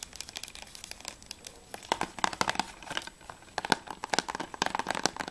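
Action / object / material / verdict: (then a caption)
tap / plastic game case / plastic / none. Long nails tap rapidly on the spine edge of a closed, hollow plastic PS3 game case for ICO, then move to its back cover. The taps are quick, dry and clicky, with a bright edge and a light hollow tone, each dying away almost instantly in uneven bursts.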